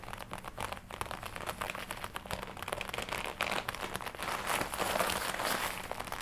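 Long nails scratch while fingertips tap and rub across the chest of a glossy black leather jacket worn on the body. The result is a steady stream of soft, irregular crinkling and scratchy taps with bright hiss, growing slightly louder toward the end.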